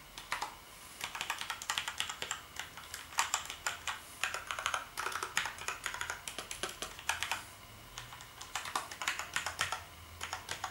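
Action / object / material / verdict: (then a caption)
tap / plastic computer keyboard / plastic / none. Fingertips type rapidly on the keys of a black plastic gaming keyboard. The result is a steady stream of bright, sharp plastic clicks and clacks in quick bursts, separated by brief pauses.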